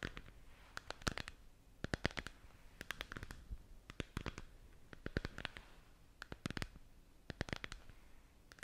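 Long nails tap and scratch around a hollow, glowing plastic moon lamp globe held close to the mic. Quiet, dry, clustered clicks and brief scrapes come in bursts, each snapping off instantly with no ring, over a faint low rumble.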